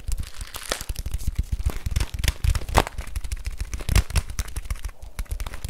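A full plastic bag of rice, held in both hands, has its plastic and label scratched and crinkled with fingernails. Dense, rapid crackles and short scratchy clicks run without a break, dry and close, with a low thump under the bright crinkle. The rustling stays steady throughout, with a few sharper pops standing out.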